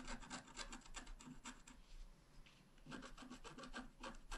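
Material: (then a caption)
Coated paper. A wooden stylus scratches across a thin, flat, black-coated scratch art card in quick, rhythmic strokes. Each stroke is a dry, raspy rub with bright scratchy detail. The strokes ease into quieter, softer scraping midway, then pick back up into a brisk run of strokes at the end.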